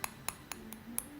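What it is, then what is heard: Hardened acrylic nail. Six light, sharp clicking taps on sealed acrylic dip-powder nails, checking that they have set hard. The bright, short clicks show the nails are hard; if they weren't, filing would feel like filing rubber.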